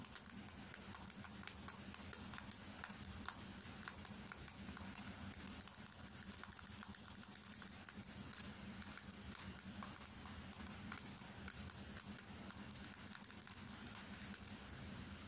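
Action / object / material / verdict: tap / smartphone with glass screen / glass / none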